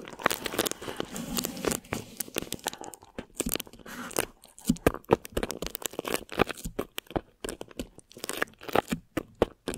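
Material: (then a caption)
Plastic film. Thin plastic wrap stretched over a microphone head is scratched and crinkled with long nails. Close, dry crinkling and scratchy, tearing-like rasps come in quick, uneven bursts with short gaps. The sound is bright and papery, with little low end.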